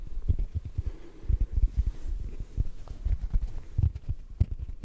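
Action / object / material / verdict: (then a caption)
tap / foam sponge / foam / none. A yellow rectangular sponge is tapped and squeezed with fingertips. A quick, uneven series of soft, muffled, low thuds sits under faint squishing, with no bright edge and almost no ring after each tap.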